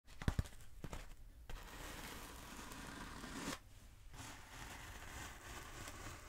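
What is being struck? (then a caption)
Closed-cell foam roller. Long acrylic nails tap a long, black, textured closed-cell foam roller held diagonally, making a few sharp, dull taps at the start. Steady, rough scratching across the foam follows, with a brief pause before the scratching resumes.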